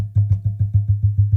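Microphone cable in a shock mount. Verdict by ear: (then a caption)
Not isolated. A microphone cable is tapped nine times on the microphone side of the shock mount's cable hook. Each tap comes through the mic as a loud, low thump with a short boomy ring around 100 Hz. This shows the vibration travels through to the microphone.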